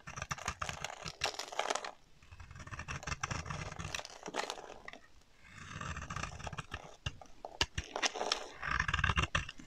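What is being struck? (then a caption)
Bar of soap. A solid pink oval bar of dry soap, held in one hand, is scraped with a box-cutter blade so that pink shavings curl off its surface. Bright, crackly scraping bursts alternate with softer, low rumbling strokes, with sharp clicks scattered throughout.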